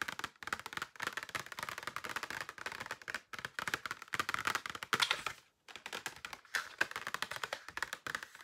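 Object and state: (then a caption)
Plastic false-eyelash case. A flat, rectangular, hollow clear plastic case holding several pairs of false eyelashes is held up and tapped with long painted nails. The result is a quick, continuous run of light, dry plastic clicks with a bright, papery edge and almost no low end. The clicks come in dense bursts, with a brief pause just after the midpoint.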